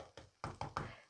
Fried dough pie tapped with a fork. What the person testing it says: Kalau suaranya tumpul seperti ini berarti sudah siap.